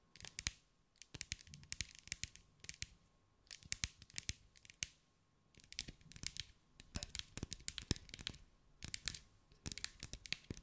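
A hand-held, solid-looking glass mosaic ball about 15 cm across, covered in small green glass mosaic pieces, is tapped and scratched with long light-grey almond acrylic nails. Bursts of sharp, bright clicks and scratchy ticks come in quick clusters separated by brief quiet gaps, each tap dying almost instantly.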